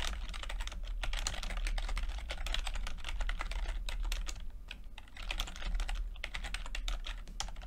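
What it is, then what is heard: Plastic computer keyboard. A low-profile plastic computer keyboard with red and purple backlit chiclet keys, whose flat, mostly hollow keycaps sit over switches, is tapped rapidly with the fingertips of both hands. The result is a dense stream of short, bright, clicky key presses over a steady low hum, with a brief lull near the five-second mark before the typing picks up again.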